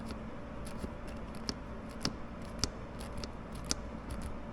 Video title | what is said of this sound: ZRX1100 Buzz/Rattle @ 4k rpm- what DID and DIDN'T fix it. | if I just tap it, you hear it tapping on that bracket